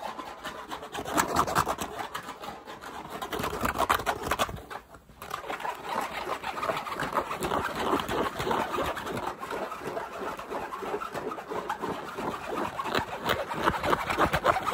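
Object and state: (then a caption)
Fabric baseball cap being scratched. Fingers rub and scratch the fabric crown and the grey underside of the brim of a black LA baseball cap held close up. A fast, dense run of scratchy rustling fills the clip, centred in the midrange around 1 kHz with little low end, pausing briefly to near quiet around five seconds before the scratching resumes.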